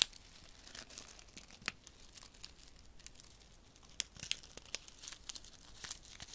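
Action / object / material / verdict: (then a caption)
scrape / paper sachet of silica gel beads / paper / none. Fingertips rub and crinkle a small, flat paper desiccant sachet filled with silica beads, held between the fingers. A quiet, bright, papery rustle runs throughout, broken by scattered sharp crackles and ticks that grow busier in the second half.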